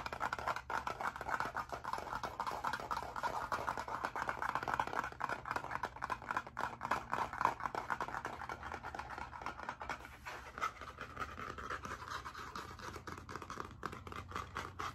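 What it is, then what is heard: Spiral-bound hardcover notebook scratched. Fingernails rapidly scratch and tap the cover of a blue spiral-bound hardcover notebook, making a dense, uneven run of quick, dry scratchy clicks with a midrange rasp around 900 Hz. Near the end the notebook is moved aside, leaving a brief softer shuffling before the scratching resumes.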